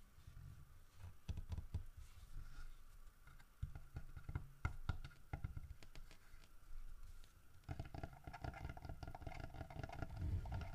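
A solid carved wooden bear statue is held and tilted while fingertips tap and scratch its head and the fish it hugs. Dull, low, quickly-damped taps come in irregular bursts over soft scratching. The scratching grows denser and more continuous in the last few seconds.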